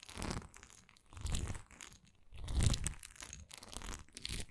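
Long nails scratch and tap across a textured wax candle. The clip has dry, crackly scratching in bursts that swell and fade, with soft low thuds underneath and no ring after each stroke.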